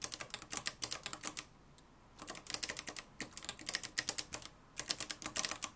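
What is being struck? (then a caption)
Plastic and metal manual typewriter. Fingertips type continuously on the dark plastic keys of a mustard-yellow, plastic-cased manual typewriter with a metal mechanism. Rapid bursts of sharp, bright clicks and clacks are broken by two brief pauses. Each keystroke snaps off almost instantly.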